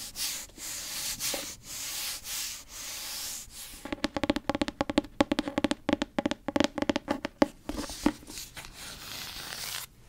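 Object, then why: Fabric-covered hardcover book. Long nails rub and scratch the cover of a grey fabric-covered hardcover book. Soft, airy rubbing strokes swell and fade, then give way to a rapid run of sharp, crisp scratches with a faint hollow resonance. The clip ends with gentle rubbing again.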